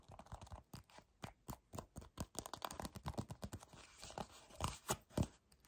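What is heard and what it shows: Fingers with short dark nails grip, rub and scratch a small, hollow white plastic squeeze tube from The Inkey List with a printed label. A fast, uneven run of short crinkly crunches and scratches comes out, each burst dry with a quick stop and a soft low thump under it.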